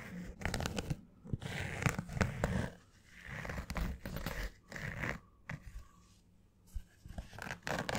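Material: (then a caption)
Fabric. Long fingernails scratch a green structured snapback baseball cap with a fabric crown and stiff brim, held hollow-side near the mic. Bursts of dry, rasping scratches with a muffled, low-heavy body come in uneven spurts separated by short quiet gaps.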